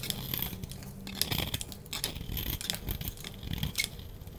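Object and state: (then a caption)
Bar soap being shaved with a blade. A solid orange bar of soap is held in the hand and shaved with a utility knife blade, crumbs falling away as it is carved. Quick, crisp scraping and crackling strokes come in a rapid, uneven run, bright and hissy on top over a soft low rumble.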